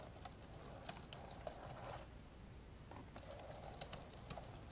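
Fingertips tap out two-handed typing on the plastic keys of an old, open, dark grey plastic laptop. Quiet, short, clicky taps with bright edges land at an irregular pace over a steady low rumble and a faint midrange hum.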